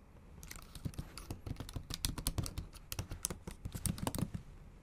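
Long acrylic nails type quickly on the bare backlit keyboard of a MacBook Pro, striking its plastic keys. Each press gives a short, dry tap with a soft low thump and a bright nail click. The taps come in a brisk, uneven run with no ring after each one.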